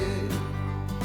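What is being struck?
Nothing is struck.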